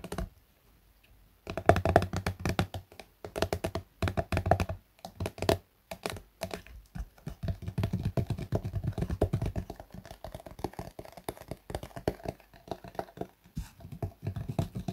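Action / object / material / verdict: tap / soft plastic squeeze tube / plastic / none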